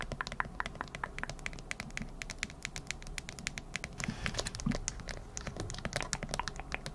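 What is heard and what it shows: Long acrylic nails tap rapidly on a smartphone held up in a hard plastic case with an anime-print back. The result is a steady stream of short, sharp, clicky taps with bright high edges that die away almost instantly, over a faint low background rumble.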